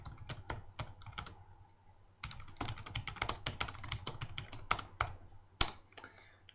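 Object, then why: Plastic laptop keyboard. Fingertips of both hands type and tap quickly on a black plastic laptop keyboard with hollow key caps, while the mouse beside it stays still. Bright, dry clicks come in rapid bursts with a short pause near the two-second mark and a few sharper, louder taps toward the end, over a faint low hum.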